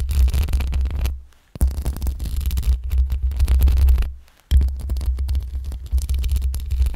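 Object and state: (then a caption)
Metal mesh microphone grille. Long pink acrylic nails of both hands slowly scratch the hollow metal mesh head grille of a black USB condenser microphone on a stand with a rhinestone band. The scratching comes through as a dense, deep, boomy rumble with a thin, scratchy texture on top. It pauses briefly twice before resuming.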